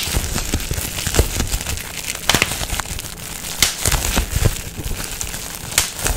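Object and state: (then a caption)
Plastic bubble wrap. A sheet of clear plastic bubble wrap with air-filled bubbles is pinched and popped with the fingertips and twisted in the hands. Sharp, bright pops come through over a steady crinkling and crackling of the plastic. The pops are short, with almost no ring after each one.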